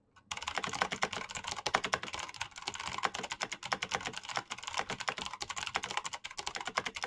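Fingertips with painted nails type fast on a black plastic mechanical keyboard with clicky switches. A dense, rapid stream of sharp, bright clicks runs without a break for about seven seconds. Each click dies almost instantly, with little low-end weight.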